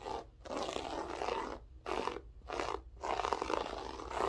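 Long French-tip nails scratch a grey loop-pile berber carpet floor, using both fingertips and full hands. The result is a dry, crackling scrape concentrated in the mid-range, coming in sustained bursts separated by short pauses.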